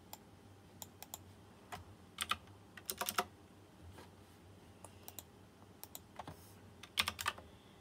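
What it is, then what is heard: Mechanical keyboard with round metal-rimmed keycaps. Fingertips of one hand type quickly on a white plastic mechanical keyboard with round chrome-rimmed keycaps and RGB lighting. Sharp, bright clacks come in irregular bursts and quick clusters over a faint low hum, each dying away almost instantly.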